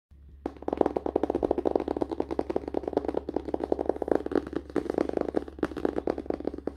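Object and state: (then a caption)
Hardcover book. Fingertips and short nails of both hands tap rapidly on the glossy printed cardboard front cover of a closed, solid *Diary of a Wimpy Kid* hardcover book lying on a lap. The result is a fast, continuous stream of dry, short-decaying clicks and knocks centered in the midrange, over a faint steady low hum.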